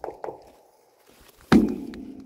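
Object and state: Empty metal storage tank (hollow sound).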